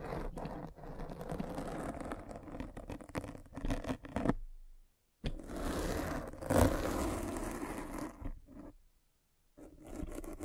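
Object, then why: Foam microphone windscreen rolled over with a spiked roller. A metal-spiked derma roller is rolled over a black foam windscreen on a microphone, scratching the foam. It makes a dense, crackling scrape-and-rustle that is strongest in the low and middle range. The scraping pauses briefly twice and swells to a louder burst partway through.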